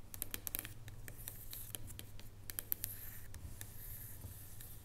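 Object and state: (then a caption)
Dark chocolate bar. Long fingernails tap and scratch across the top of a solid dark chocolate bar resting on a wooden table. Quick, sharp, bright clicks and dry scratching run throughout, with no ringing after each tap, over a steady low hum.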